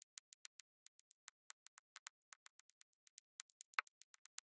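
A pink plastic drill pen taps square cream, pink and red resin drills down one at a time onto an adhesive diamond painting canvas. About 28 quiet, very short, bright clicks follow in an uneven rhythm with no lingering ring. One slightly longer, fuller-sounding tap comes near the end.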